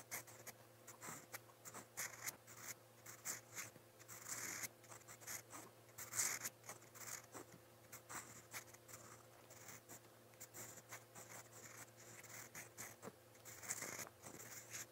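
A steel fountain pen nib scratches across a lined white paper notepad while writing, making a run of quiet, bright, dry scratching strokes. Each stroke dies away quickly, and a steady low hum sits underneath.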